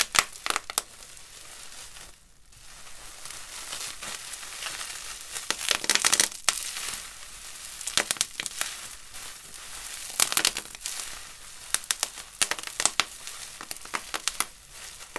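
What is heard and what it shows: A wad of clear plastic bubble wrap with hollow air bubbles is squeezed and crushed in gloved hands, giving a steady bright crinkling broken by many sharp, quick pops as the bubbles burst. The sound is thin and high with almost no low end, and each pop dies away almost instantly.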